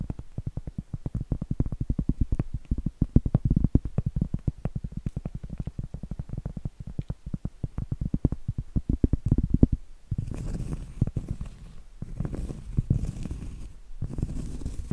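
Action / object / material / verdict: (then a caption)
tap / cork trivet board / cork / none. Medium acrylic nails tap rapidly on a round, flat, solid cork trivet held upright, making dense, dull, low thuds that die away almost at once. After about ten seconds the tapping gives way to scratching, a rougher continuous rasp with faint bright hiss in bursts, broken by short pauses.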